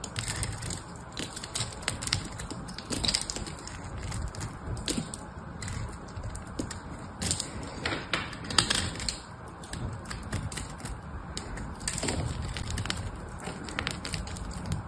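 A metal knife blade shaves curls off a hand-held, solid, cream-colored dry soap bar with foil on one end. The result is a steady, dense run of dry, crackling scrapes with many short, bright clicks over a low rumble, swelling and easing as each curl is cut.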